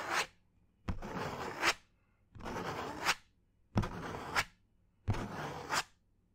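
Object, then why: Thin cardboard sheet. A thin brown cardboard sheet held close to the ear is scratched with fingernails in five separate strokes. Each stroke is a dry, broadband scratching rasp that grows brighter toward its end before cutting off into near silence.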